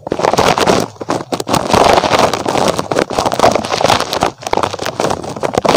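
A small red spiky rubber puffer toy shaped like a rabbit is held close to the microphone and scratched and squeezed with fingertips. It makes a dense, crackly run of rubbery scratches and squishes centered in the midrange around 680 Hz, with short dips between bursts of rubbing.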